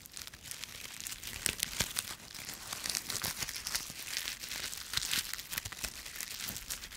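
A bunch of thin, brittle, dry yellow-green autumn leaves on a twig is torn apart with the fingertips and then squeezed in one fist. The sound is a steady stream of dense, bright, crisp crackles and crunches with sharp tearing snaps and almost no low end.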